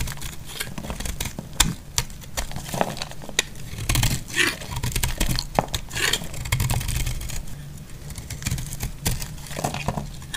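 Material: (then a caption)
Soap. A utility knife blade shaves thick curls from the edge of a solid cream dry laundry soap bar held in the hand. A steady run of dry, crisp scraping and crackling clicks with bright edges sits over a low, dull rumble, with sharper snaps standing out here and there.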